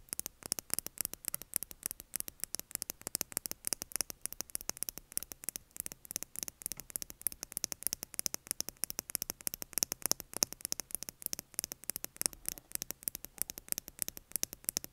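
A small clear plastic lip gloss tube with a metallic cap, filled with gloss and held in both hands, is tapped quickly and continuously with long acrylic nails. The taps are sharp, bright clicks that stop almost instantly, in a dense, steady stream over a faint low hum and hiss.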